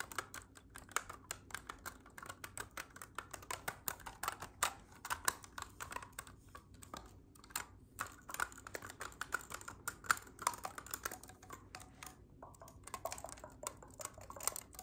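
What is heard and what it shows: Fingertips tap and press the silver metal keys of a hollow black clarinet while gripping its body. The result is a quiet, rapid, uneven run of short, dry clicks and taps that stop almost instantly, with a mid-range tone around 1.4 kHz and a little bright edge.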